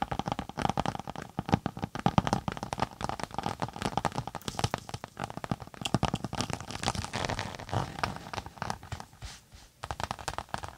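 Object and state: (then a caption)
Textured tablet case with synthetic cover. Long nails scratch and tap rapidly across the textured top of a closed, tablet-size case with a floral synthetic cover, held flat over the microphone. The result is a dense stream of short, dry, crinkly scratches and taps with a fairly bassy body, easing into quieter scratching near the end before a few final taps.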